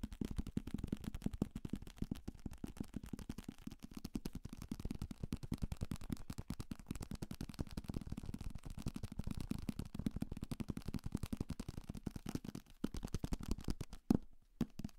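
A thick, solid paperback copy of 'Salem's Lot' with a paper cover is held up in one hand and tapped fast with fingertips on the spine, cover and page block. The result is a dense, continuous stream of dull, low, quickly fading thuds and light rattling. Near the end, one louder tap comes just before a brief drop in level.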